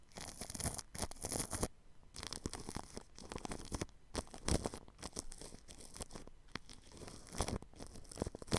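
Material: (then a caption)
Plastic film. A paintbrush brushes across plastic cling film wrapped over a ball microphone's grille. It makes close, crinkly, scratchy strokes with bright crackle, coming in bursts separated by brief quiet gaps.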